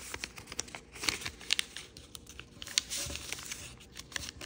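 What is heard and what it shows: A small, thin rainbow origami paper sheet with a red back is folded by fingertips that rub the creases flat. Dry, bright crinkling and sharp papery crackles come in quick, uneven bursts, with almost no low end and no ring after each snap.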